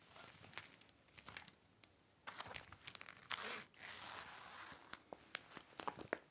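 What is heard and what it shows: A large, flat, empty clear heavy vinyl (PVC) folding toiletry organizer with zippered compartments lies on a red blanket while a microfiber cloth held in the fingers wipes and rubs across it. Bright plastic crinkles and crisp crackling snaps come in quick irregular bursts, with a few longer hissing rubbing swells.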